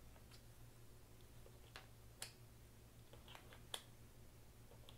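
Fingers handle small, solid, green plastic poker chips over a chip tray, stacking them, clicking them together and dropping them into the tray's slots. Sharp, bright, short clicks come at irregular intervals and die away almost instantly, over a quiet, steady low hum.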